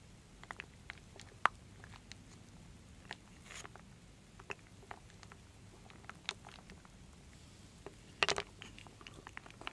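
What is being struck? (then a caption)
Wooden beads and acorn pieces in a wooden bowl. A wooden spoon slowly stirs solid wooden beads and acorn pieces in a full wooden bowl. Sparse, dry, bright clicks and short knocks sound over a quiet hiss, with a denser, louder cluster of rattling taps near the end.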